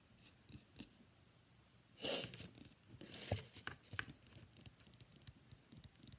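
Long fingernails tap and scratch a palm-sized, solid cream-white rectangular bar of soap with embossed lettering, held in one hand. Quiet, dry clicks and soft ticks scatter throughout, with two louder, bright scratchy rasps near the two- and three-second marks. Each sound stops short with almost no ring.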